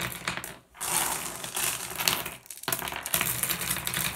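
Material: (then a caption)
Glass. A handful of small, solid blue glass gem pebbles is let fall from a hand onto a pile of them on a wooden tabletop. It makes a bright, dense clattering of small clicks that rattles almost continuously, with short lulls around 0.7 and 2.5 seconds before the tumbling picks up again.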